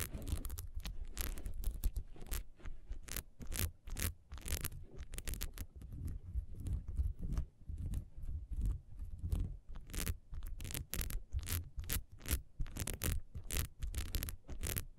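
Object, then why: Ribbed beeswax candle. Long nails rapidly scratch the grooves of a solid ribbed beeswax candle lying on its side, its metal wick tab visible on the base. Quick, dry scraping strokes repeat in close succession, each a short bright burst over a steady low rumble.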